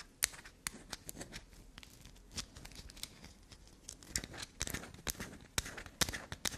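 Long black nails scratch and dig into a solid bar of black soap held near a table. Soft, dry scraping runs throughout, broken by sharp, bright taps and clicks at an irregular pace. The sound stays quiet and close, with little low end.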